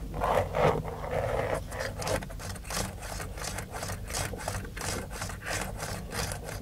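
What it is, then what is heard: Plastic steering wheel airbag cover. Fingertips and short nails scratch and tap the textured black plastic airbag cover at the centre of a Dodge steering wheel, a hollow shell over the airbag module. Dry, rasping scratches repeat in an uneven rhythm of about three strokes per second, with bright hiss on each stroke over a dull, hollow low-end rumble. Each stroke dies away almost instantly with no ring.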